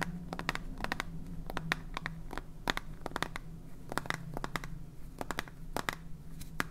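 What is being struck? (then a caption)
Plastic salt container. A clear plastic salt jar with a red cap and blue label, full of salt, is held in the hands and scratched and tapped with fingernails. A quick, irregular series of sharp, bright clicks and taps rises over soft scratching and a steady low rumble, with each tap dying away almost instantly.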